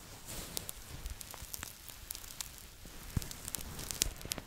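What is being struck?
Stuffed plush toy with fleece fabric.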